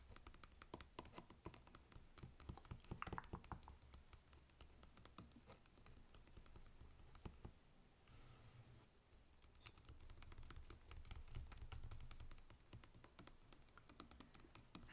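A Sleepy Hollow DVD in a standard hollow plastic keep case with a printed cover sleeve is held upright in both hands and tapped with the fingertips on the front cover. Quick, irregular patter of light clicks and soft scratches sits over a dull, hollow low thump, with a brief lull near the middle. The taps stop short with almost no ring.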